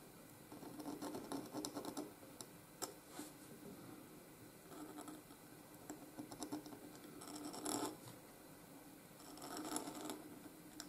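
A pointed steel Hunt 101 nib in a wooden holder scratches ink strokes across a flat sheet of white grid-lined Canson paper lying on a desk, in continuous writing motions. Quiet, dry, scratchy strokes come in short bursts and swells with bright rasping edges, over a steady faint background noise.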